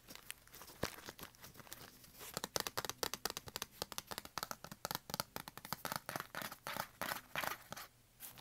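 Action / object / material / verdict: scrape / kraft paper bag / paper / none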